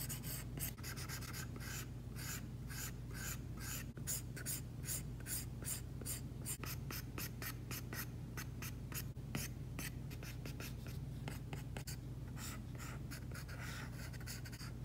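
A plastic stylus tip is rubbed and scratched in rapid shading strokes over an iPad screen fitted with a matte plastic screen protector. It makes a quick, continuous run of dry, bright scratchy strokes over a steady low hum.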